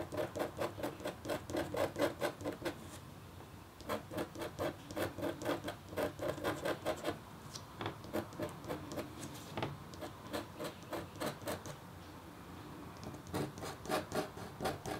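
The metal tip of a red stylus makes short scratching strokes across a thin, solid, flat, black-coated copper-foil scratch art board, about A4 in size. Quick, dry scratches come in rhythmic bursts with brief pauses between runs. Each stroke has a raspy mid-range body with a bright, scraping edge.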